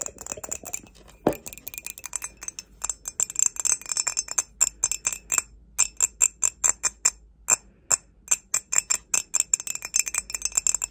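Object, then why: Ceramic mug. Long pointed acrylic nails tap and scratch the base and body of an empty, hollow, glossy grey ceramic mug, held upside down and then sideways. The result is a quick, uneven run of dozens of sharp, bright clicks and ticks with a high glassy tinkle and almost no ring, plus a few soft scratchy passages between bursts.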